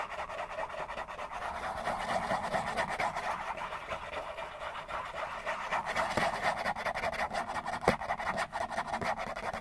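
A hollow Kleenex tissue box made of printed cardboard, held in both hands, is scratched and rubbed fast with fingertips and nails. The result is a dense, continuous rasping scratch centered in the mids, dotted with a few sharper clicks, with very little low end.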